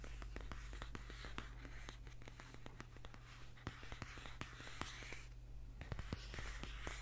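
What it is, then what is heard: Paperback book tapped and scratched. Fingernails repeatedly tap and scratch the dark glossy front cover of a thick, solid paperback book lying near the microphone. Quiet, short, sharp clicks come at an uneven pace over soft hissing scratches and a steady low hum.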